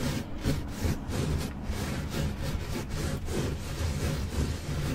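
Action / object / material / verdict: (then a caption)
scrape / textile car floor mat / textile / none. Long pointed nails scratch and rub slowly across the fibers of a flat, solid black textile car carpet floor mat. A continuous low, muffled rasping sound rises and falls in steady strokes, with only a faint bright hiss on top.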